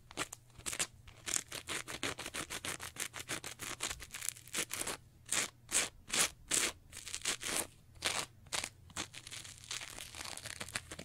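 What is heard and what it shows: A soft, porous teal textured foam sponge is folded and bent in both hands while long nails and fingertips scratch and squeeze it. Dozens of quick, bright, crackly scratching bursts follow one another in an uneven rhythm, each dying away almost instantly, with a few louder crunchy strokes standing out.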